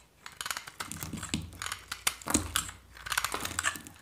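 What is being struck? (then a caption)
Bar of soap scraped with a metal blade. A metal knife blade scrapes and shaves a hand-held solid white dry soap bar, curling flakes off it. The clip is a quick series of dry, crisp crackling and scratching strokes, bright and short with almost no ring, in uneven bursts and pauses.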